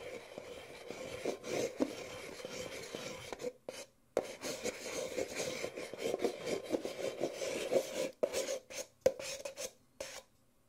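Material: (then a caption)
Paper. An empty white disposable paper Nespresso coffee cup, small and hollow, is held sideways while fingertips tap and rub its outer wall and base. Dry, papery rasping and scratchy rubbing carry a steady hollow tone around 520 Hz, broken by soft, quick taps. Two brief pauses break the sound, and it ends with a few isolated taps that die away almost at once.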